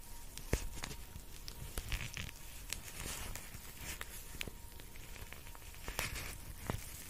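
Long painted nails tap and scratch across the surface of a purple cartoon-face cooling eye mask, a thin flexible plastic shell filled with gel beads with an elastic strap, held up in both hands. Soft crinkly scratching runs throughout, broken by sharp clicky taps with a bright edge and a low thump underneath.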